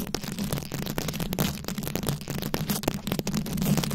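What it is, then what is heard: Rhinestone-covered microphone scratched with nails. Long acrylic nails scratch and tap across a fist-sized microphone head fully covered in small glued-on rhinestones and beads. The result is a dense, continuous stream of crisp, bright clicks and rasping scrapes over a heavy low-end rumble, with each tick dying away almost instantly.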